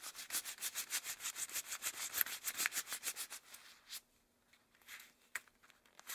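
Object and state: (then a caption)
Rubber gloves rubbing. Long cream rubber gloves worn on both hands are rubbed together and wrung with interlaced fingers. Quick, rhythmic, bright rubbery swishes and squeaks repeat steadily for about four seconds. A few sparser, quieter rubs and one sharp squeak follow.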